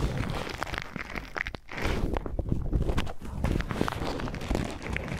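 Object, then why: Paper tea filter bag. An empty white paper tea filter bag, held in both hands, is crinkled and rubbed with the fingertips close to the microphone. The result is a steady, dense rustle of soft crackles and short papery snaps with a full, low-heavy body, briefly easing off near the middle before resuming.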